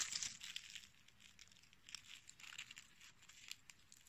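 A small, solid, brittle dried dark-red rose head with green dried sepals and a short stem is held in the fingertips and squeezed and crushed between fingers and nails. It gives crunchy, bright crackling: a loud burst at the start, then quieter, irregular crackles with sharp pops throughout. The sound is almost entirely high and crisp, with very little low end.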